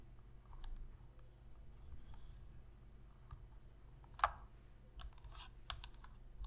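Long pink fingernails scratch and press the buttons of a hollow black plastic Sony PS3 controller. Soft, faint scratching gives way to sharp, bright clicks and taps that die away almost instantly, the loudest near the four-second mark. A steady low hum sits underneath throughout.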